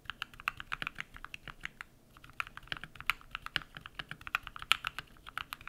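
Bare fingertips type rapid key presses on a compact modded mechanical keyboard with white PBT plastic keycaps and lubed switches. Each press gives a short, dry, bright clack with almost no ring and little low end, in an uneven stream with a brief lull near the two-second mark.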